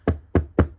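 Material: Foam.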